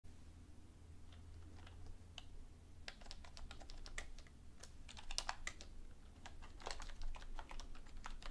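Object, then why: Plastic computer keyboard. Long painted fingernails and fingertips tap rapidly and unevenly on the hollow key caps of a black full-size plastic computer keyboard lying flat on a desk. The result is quick, dry, bright clicks with almost no ring over a steady low hum.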